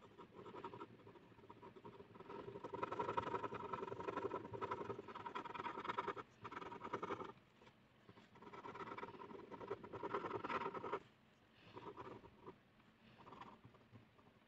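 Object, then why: Ballpoint pen on a paper sheet. A blue ballpoint pen shades a flat white paper sheet resting on a hard surface in fast, scratchy strokes. The result is a dense, rapid scratching with a steady tonal scrape around 400 Hz and 1 kHz. It comes in bursts separated by brief pauses and softer stretches toward the end.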